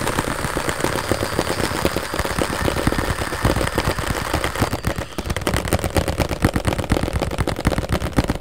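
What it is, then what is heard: Cardboard tissue box. A rectangular printed cardboard Scotties tissue box, hollow with tissues inside, is held upright and tapped rapidly with the fingertips. The taps come as a dense, continuous patter of short, dull, low thuds with very little ring, briefly easing around the five-second mark before picking back up.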